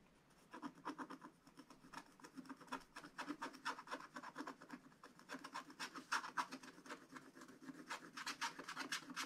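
A wooden stylus scratches hatching strokes into a black coated scratch-art paper page, drawing the barn. Quick, dry, raspy scratches repeat at about four per second in an uneven rhythm, each short and bright with a papery midrange. The strokes stay quiet throughout, with slight swells and no ring after each one.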